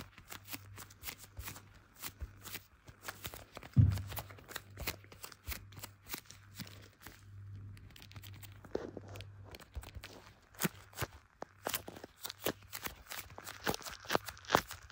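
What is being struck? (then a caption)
Smartphone in clear plastic case. Leather-gloved fingertips tap and rub a small, solid blue smartphone in a clear plastic case, the phone itself doing the recording. Many quick, sticky glove-on-plastic taps come in irregular clusters, each a short sharp click with a bright edge. Beneath them runs a steady low hum, and soft rubbing fills the gaps.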